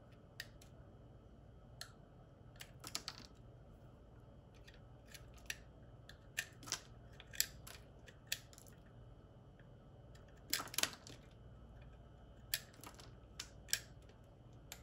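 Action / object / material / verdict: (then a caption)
scrape / bar of soap cut with a metal blade / soap / none. A metal utility knife blade carves a solid white oval Dove soap bar held in the hand, peeling off thin shavings. Short, crisp, bright scraping and cutting clicks come in irregular bursts over a quiet, steady low hum, each one dying away almost instantly.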